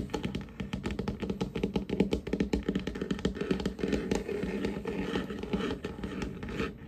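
Short nails and fingertips of both hands tap and scratch quickly across a large, solid, varnished wooden tabletop with a glossy finish. The result is a dense, irregular stream of short, dry knocks and scrapes. They have a warm, low-mid body and very little bright edge, and each one dies away almost at once.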